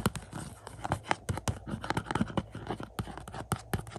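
Fingertips and nails scratch and scrape the front of a glossy cardboard slipcover on a 4K Blu-ray case of the movie Shang-Chi, lying on carpet. The result is a quick, uneven run of dry scratches and soft taps with a low thump under each stroke and short rasping edges, with little ring after each touch.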